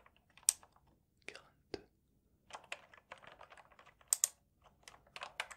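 Fingertips tap and press the keycaps along the edges of a full-size black plastic mechanical gaming keyboard with a wrist rest, held upright against the chest between two microphones on either side. The result is a quiet, irregular series of sharp, bright clicks and clacks that die away almost instantly, with no low-end thump.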